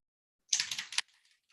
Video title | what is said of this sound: CREATIVE MIXED MEDIA CARDS USING EMBOSSING PASTE, EMBOSSING FOLDERS, DISTRESS INKS ETC. | there's like a metal um ball inside so make sure that the pigment mixes